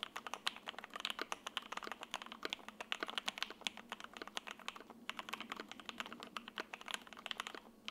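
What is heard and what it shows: An F1-8X 80% mechanical keyboard with a grey case, a sandwich PC plate, foam inside the solid case, and white, grey and green double-shot ABS keycaps sits on a desk mat and is typed on continuously with the fingertips of both hands. It produces a rapid, steady stream of short, crisp, bright key clacks that die away almost instantly, with no low-end thump.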